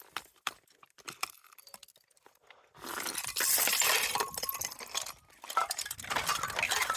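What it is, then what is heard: Slate fragments with a glassy clink. Loose slate pieces in an old slate quarry scree knock and clink together, underfoot or by hand. Sharp, scattered clinks come first, then a dense, bright jostling clatter with a glassy ring. The slate sounds like glass.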